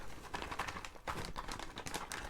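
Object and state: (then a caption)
Hollow, empty snake eggshell. Light tapping on a snake eggshell that turned out hard rather than soft, making a rapid run of quick, hollow clicks with a clear midrange knock. The eggshell sounds very hollow because the egg is empty.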